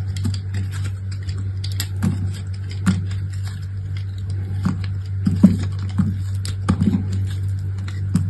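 A box-cutter blade carves and scrapes brittle layers off a large, solid block of dry soap with a dark grey speckled side and a pastel interior, held in the hand. Dry, crisp scraping crackles and sharp clicks come in irregular bursts over a steady low hum, with a few louder snaps near the middle and end.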